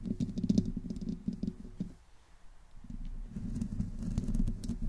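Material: Metal mesh.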